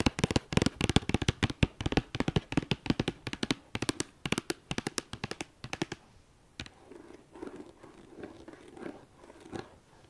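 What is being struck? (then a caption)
Cardboard makeup palette sleeve. Long painted nails tap and scratch across the top of a white cardboard makeup palette sleeve with a red star, resting on a fleece blanket. Dozens of quick, crisp taps come first, then after about six seconds they give way to softer, duller scratching strokes.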